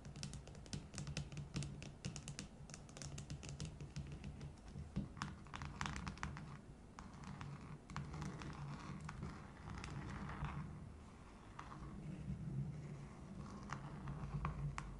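Long nails tap and scratch the sides and base of a tall, hollow red hard-plastic tumbler turned upside down on a wooden table. Quick, dry clicks and scratchy strokes come in dense, irregular runs, with a low hollow body beneath them. Each tap dies away almost at once.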